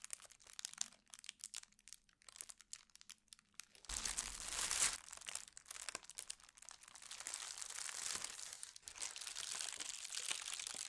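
A large, thin holly-print tissue paper sheet lies on a table while both hands press and smooth it with fingertips and long nails. Soft, scattered crinkles and taps come first, then a louder, bright rush of crinkling builds at about four seconds and continues as a steady, dense rustle to the end.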